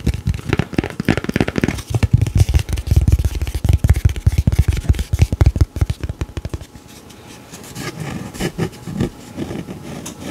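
Fingertips and nails tap and scratch the printed surface of a thick, flat, solid square pressed-paperboard beer coaster (Fathom IPA) held in both hands. A fast, dense run of dull, low, thumpy taps fills the first two-thirds, each one short and dry with no ring. It then gives way to quieter, softer scratching with a few brighter scrapes to the end.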